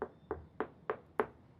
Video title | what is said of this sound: PÃO PITA DE YAZD - TEXTURA E CROSTA PERFEITAS. | Si la golpeas así, hará un sonido hueco. Esa es la textura correcta.